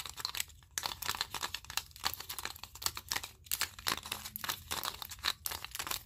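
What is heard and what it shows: A mat of wooden clothespins with metal springs, clipped together and held in both hands, is squeezed, flexed and shaken. It gives dense, bright wooden clicking and rattling with short, crisp transients and almost no low end.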